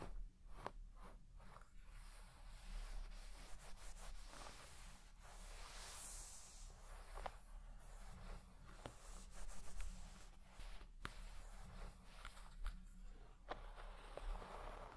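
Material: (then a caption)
Textile. A wooden-pin hairbrush is brushed in fast strokes across the pile of a large red shaggy textile carpet. The result is soft, quiet scratchy rubbing with brief bright ticks of the pins over a steady low hum.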